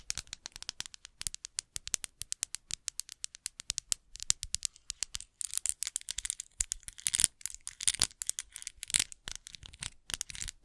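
A small, hollow, apparently empty clear glass bottle is held in both hands close to the microphone while long acrylic nails tap and scratch it. The result is a rapid run of bright, high-pitched clinks and light scraping, with very short ringing and almost no low end.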